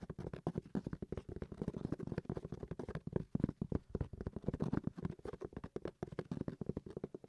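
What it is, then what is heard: Hard console carrying case tapped. A hard-shell carrying case for a game console is tapped rapidly with many short, dry, dull knocks. The knocks are muted and low-pitched with almost no ring, close to the sound of tapping a hardback book.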